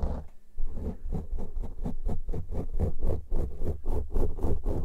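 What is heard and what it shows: Fingertips and nails of both hands, one hand per microphone, scratch and rub two matching soft, porous black foam windscreens on studio microphones. A rapid, uneven series of scratchy strokes comes three to four times a second, each with a brief bright rasp over a deep, booming low rumble. Every stroke dies away almost at once.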